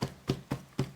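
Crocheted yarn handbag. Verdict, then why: Firm. A finished mini crocheted yarn handbag is struck four times, giving dull, low thumps that die away quickly. The bag is dense and firm from its tight stitching and does not collapse when hit, so it holds its shape.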